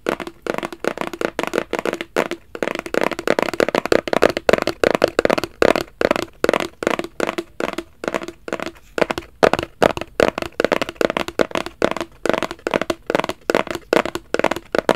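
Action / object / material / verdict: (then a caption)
tap / small rigid cardboard box / cardboard / none. A small, hollow, black rigid cardboard gift box, held in both hands close to the camera, is tapped and scratched with the fingertips. The result is a steady stream of dozens of quick, dry, hollow taps with a papery midrange tone around 535 Hz, mixed with soft scratching between them. The taps pause briefly around 9 seconds before resuming.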